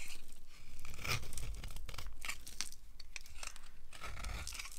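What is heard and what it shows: A solid yellow oval bar of dry soap is carved flat with a red-handled knife blade as powdery flakes fall away. Dry, crisp scraping and crunching strokes run continuously with short bright bursts, over a low rumbling floor.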